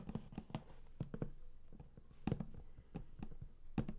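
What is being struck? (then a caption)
Large flat cardboard box. Fingertips tap and scratch the lid of a large, flat cardboard game collector's box that is closed and hollow. A quick, irregular run of soft, dull, low thuds dies away almost at once, with faint scratchy rustling between the taps.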